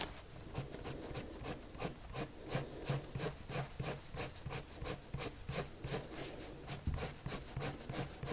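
A colored pencil tip is dragged across a white paper sheet resting on a table in repeated drawing strokes. Each stroke makes a short, dry scratching rub with bright, hissy high end over a soft low body, at roughly three strokes per second in a loose, uneven rhythm.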